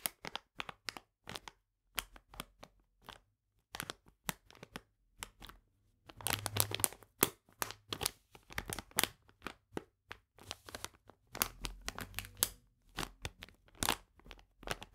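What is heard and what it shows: Fingernails scratch and fingertips press and crinkle a full plastic bag of polenta lying flat. Quiet, bright, crisp crackles and scratches come in short, sharp bursts separated by silences at first, then grow denser and more continuous from about six seconds on, with faint low thuds under the crinkling.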